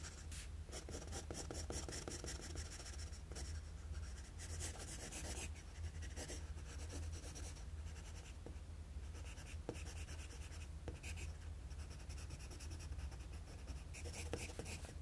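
A graphite pencil scratches long strokes across a flat sheet of drawing paper, tracing the neck and collar lines of a drawing. Steady, bright scratching and rubbing continues throughout over a constant low hum, with no pauses.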